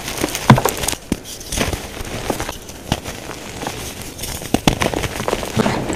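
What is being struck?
Crumbled gym chalk powder and chunks.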